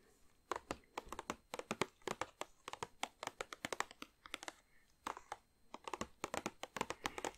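Long nails tap rapidly on the front of a large, glossy plastic bag filled with chocolates. Dozens of sharp, crisp ticks with a light crinkle come in quick bursts, with short pauses between runs. Each tap dies away almost instantly.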